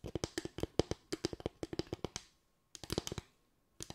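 A bamboo tray is tapped with the fingertips in quick, uneven bursts of short, dry knocks with a hollow woody tone around 340 Hz. About 22 taps are heard: a long run over the first two and a half seconds, a brief cluster after a pause, then a few more at the end. Each tap dies away almost instantly.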